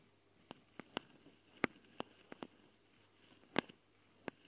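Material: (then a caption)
Metal mesh. Long dark fingernails of both hands scratch and tap the metal mesh grilles on the twin X/Y capsules of a small Tascam recorder, set in plastic housings. Nine sharp, dry clicks and brief scrapes land irregularly over a faint hiss, each bright and dying away almost instantly.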